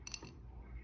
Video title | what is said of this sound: Acrylic Nail Tapping ASMR and Explaining Alter Objects | so here this is just a regular glass bottle